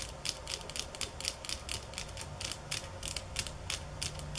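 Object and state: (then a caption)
Bamboo sticks. Fingernails tap on bamboo sticks at varying speeds and intensities. About 21 short, dry, bright clicks come in an uneven rhythm over a low steady hum, each one fading almost at once.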